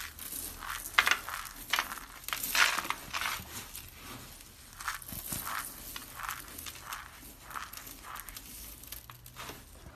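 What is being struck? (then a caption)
Soap flakes. Fingers scoop, squeeze and crush a pile of small, brittle, solid blue and lime-green dry soap chips on a wooden table. Crisp, dry crunching bursts come one after another, bright and crackly with almost no low end. Each burst dies away quickly, leaving a light scratchy rustle between crunches.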